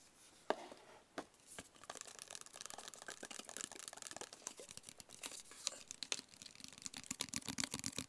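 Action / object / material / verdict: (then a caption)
tap / small rigid cardboard box / cardboard / none. A small, hollow, closed black branded rigid cardboard box is held in the hands and tapped with the fingertips. It gives quiet, dry, bright taps with a faint scratchy texture, starting with a few sharp isolated taps and then settling into a steady, rapid tapping pattern. Each tap dies away almost instantly, with no ring.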